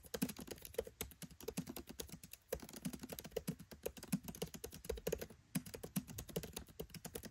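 Fingertips type rapidly on a MacBook Pro 13 keyboard with black plastic keycaps set in an aluminium body. A steady stream of short, dry clicky key taps comes in quick bursts, with brief pauses around the middle and later in the clip, and each tap dies away almost instantly.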